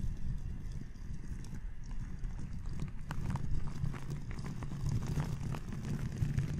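A round natural-bristle brush with a red handle sweeps across a black foam windscreen on a microphone. The result is a steady, low, rumbling scratch with faint crackly ticks, its level rising and falling gently as the bristles keep moving over the foam.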